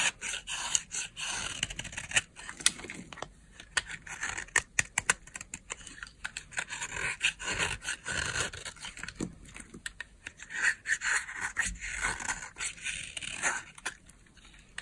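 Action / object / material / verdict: scrape / dry bar of soap scraped with a knife blade / soap / none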